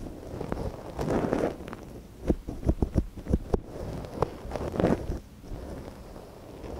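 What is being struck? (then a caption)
Silicone ear of a binaural microphone, scratched with a thin wooden stick. Gloved fingers work a thin wooden stick inside the canal of a small, soft silicone ear on a binaural microphone. Close, muffled scratching and rustling swell and fade, broken by a run of short, dull clicks and taps. The sound stays low and soft throughout, with no bright ring.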